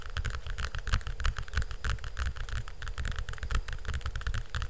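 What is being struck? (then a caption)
Hardcover cardboard book. Fingernails quickly scratch and tap the cover and spine of a large hardcover cardboard picture book held close to the mic. The result is a steady, irregular stream of deep, dull thumps layered with bright, crisp scratching clicks.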